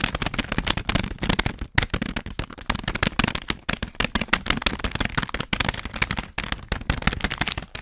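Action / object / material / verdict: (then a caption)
scrape / plastic foil snack bag / plastic foil / none. A full orange plastic/foil snack bag is crinkled and rubbed with the fingertips of both hands behind the microphone. Dense, sharp crackling and rustling runs throughout in quick broadband bursts with only brief pauses, bright at the top with some low body. Each crackle stops almost instantly, leaving a busy, crisp crinkle texture.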